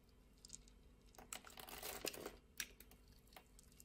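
A utility blade shaves flakes off the scored surface of a translucent orange bar soap. It makes quiet, crisp scraping and crackling with irregular, sharp bright ticks, swelling into a denser rasp in the middle before thinning out again.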